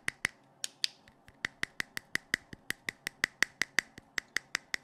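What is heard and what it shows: A hand-sized, hollow blue plastic LED flashlight with a clear lens head is held close to the mic and tapped on its head with fingertips and nails. About 21 sharp, clicky taps come in an uneven rhythm, each a short, bright plastic tick with a tone near 2 kHz that dies away almost instantly over a quiet background.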